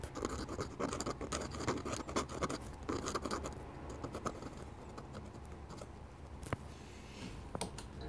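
A metal-nib dip pen held in the fingers scratches quick ink strokes across a flat sheet of drawing paper bearing an ink sketch of a wooden church, while a glass ink bottle stands nearby untouched. Dense, rapid, irregular scratching fills the first few seconds, then eases into softer, sparser strokes broken by a few sharp, bright ticks.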